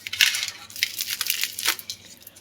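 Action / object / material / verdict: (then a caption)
scrape / baked cheese bread roll / bread crust / crisp. A freshly baked cheese bread roll (tyrokouloura) with melted cheese inside is broken open, its crispy crust giving off a quick series of sharp, dry crackles and crunches. The sound is bright and high-pitched with almost no low end, and each snap dies away almost instantly.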